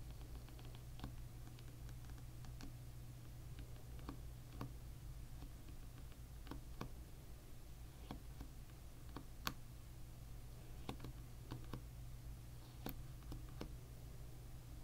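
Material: Plastic.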